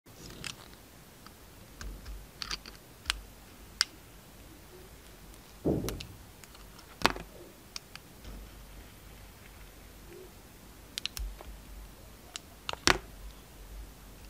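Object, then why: Solid bar of soap cut with a metal blade. A metal utility knife blade shaves slices off the surface of a palm-sized, solid bar of dark red soap with a quilted pattern, held in the hand. Quiet, scattered crisp clicks and short bright scrapes sound over a faint background, with a longer, lower scraping swell near the middle. Each cut stops sharply with almost no ring.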